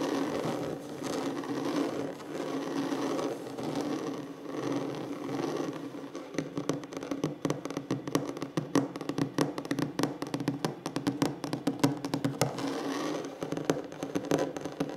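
Fingertips with short nails work on a large, solid wooden tabletop, first producing a steady, even scratching rustle for about six seconds. The sound then turns into rapid, dense taps with short, dry knocks that die away almost instantly, centered on a woody tone near 285 Hz.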